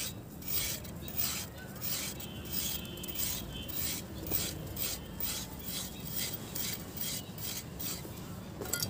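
A metal knife blade scrapes along a hand-sized, solid, dry grey pressed sand block held over a basin of water, so the block crumbles into powder. The result is a steady run of gritty, bright rasping strokes with hissy high bursts over a low, grainy rumble.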